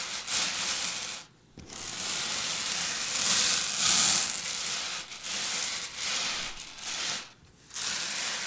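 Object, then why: Small sugar-shelled candies on a hard table. Long purple nails on both hands rake and scratch through loose, small, hard-shelled Reese's Pieces candy-coated peanut butter candies on a white table. The result is a steady, bright, crisp rattling and clicking. It stops briefly twice, at about 1.3 and 7.4 seconds.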